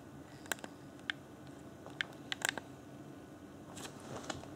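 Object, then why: Plastic game controller. A fingertip taps and clicks the buttons of a hand-sized, hollow, transparent plastic Xbox One Afterglow controller with its yellow LED lit. About nine short, dry plastic clicks ring out over a faint, steady background hiss. The clicks are bright and crisp, centered around 1.6 kHz, and die away almost instantly.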